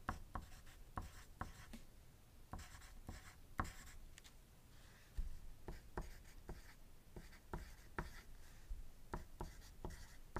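A wooden graphite pencil held in the fingertips writes on a thin white paper sheet lying on a desk, while the nearby dice stay still. Quiet, continuous scratchy strokes come in a run of short, sharp ticks with a dull low body and brief bright edges, each dying away almost instantly.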